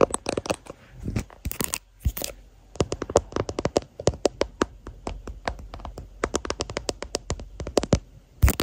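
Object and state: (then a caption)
Clear plastic phone case. Fingertips and short nails tap and scratch a hand-sized, hollow, transparent plastic phone case with a white flower print and a MagSafe ring, fitted on the recording phone and seen in a mirror. Rapid, dry, sharp clicks with a faint hollow body near 500 Hz alternate with brief bursts of scratchy friction noise. Each tap dies almost instantly, with a low thump under the bright clicks.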